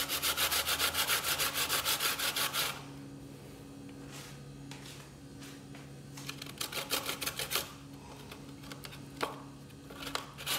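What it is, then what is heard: Fresh coconut meat grated on a steel box grater. A small solid piece of fresh coconut meat with its brown skin on is rubbed by the fingertips against a steel box grater resting on a bamboo board. A fast, steady run of bright, rasping grating strokes opens the clip, then gives way to a quiet stretch with a faint low hum. Short bursts of scratchy grating and a few isolated scrapes follow.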